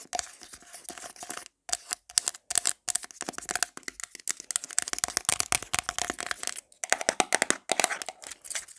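A small, round, hollow black plastic got2b hair product jar with a lid is held in the hand and tapped and scratched fast with long black nails. Rapid, dry, bright clicks and scratchy rasps come in quick bursts separated by brief pauses, with almost no low end and no ring after each hit. A faint steady tone sits near 700 Hz underneath.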